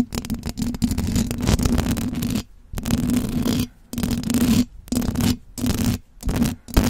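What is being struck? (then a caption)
Metal mesh microphone grille. Fingertips and long blue acrylic nails rub and scratch the hollow metal mesh grille of a silver condenser microphone. The result is loud, dense, scratchy, rustling noise with a heavy low rumble and a steady hum-like band near 200 Hz. It comes in sustained bursts broken by brief moments of near silence.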